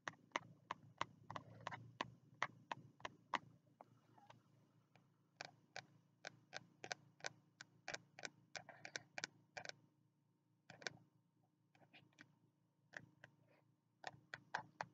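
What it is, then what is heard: Spiral notebook cover tapped. Fingertips tap the green card cover of a small, closed spiral notebook held in the hands. Quick, dry, bright clicks come in uneven bursts with brief pauses, each dying away almost instantly over a faint low hum. The tapping stays quiet throughout.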